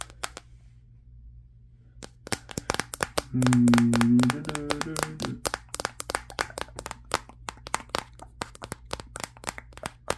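Fingertips tap the matte glass back of a Samsung Galaxy S23, the recording phone itself, held in one hand. After a nearly silent start with a couple of taps, dozens of sharp, dry clicks follow in an uneven, rapid rhythm over a steady low hum. A humming tone around 234 Hz swells briefly in the middle.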